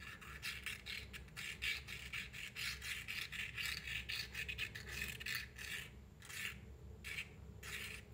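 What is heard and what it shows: The wooden tip of a matchstick scratches the striker side of a small, closed cardboard matchbox held in one hand, making dry, bright rasping strokes. The strokes come quickly and unevenly for about six seconds, then slow to a few separate scrapes, all over a faint low hum.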